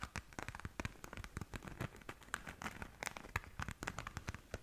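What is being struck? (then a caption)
Glitter-covered fabric zip pouch. A small, flat pink glitter-covered zip pouch, soft, hollow and seemingly empty, is held up in both hands and scratched and tapped across its glittery surface with long nails. A quiet, dense stream of short, dry clicks and crinkly scratches follows, with brief bright ticks over a low rustle, each sound dying away almost instantly.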